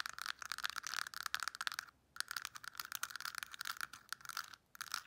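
Long nails rapidly tap and scratch the lids and compartments of a translucent pink plastic weekly pill box. The result is dense, bright, crisp clicking and scratching, centered around 1.5 kHz, with brief pauses near 2 seconds and 4.6 seconds.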